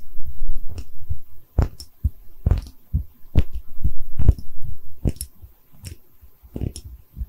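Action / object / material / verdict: tap / small porcelain bottle / porcelain / none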